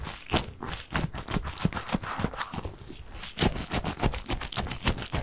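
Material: Gel beads.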